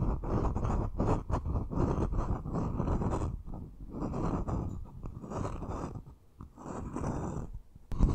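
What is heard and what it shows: A medium, hollow, empty bamboo wooden bowl held in both hands has its outside and rim tapped and scratched with short fingernails. The result is a dense, low, dry scratching and scraping texture broken by brief pauses, with a sharper tap near the end.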